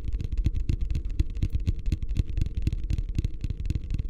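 Fingertips tap rapidly on the base and sides of a medium, hollow, empty beige plastic wastebasket held upside down in both hands. The taps make a quick, steady stream of dull, boomy thuds with a deep low resonance around 66 Hz. Each one dies away almost instantly, with only a faint bright click on top.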